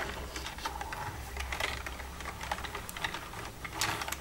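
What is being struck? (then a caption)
Plastic computer keyboard. Long red-painted nails tap and type with both hands across the keys of a black plastic desktop computer keyboard with a hollow casing. The result is a steady run of quick, bright plastic clicks and clacks over a low, constant hum.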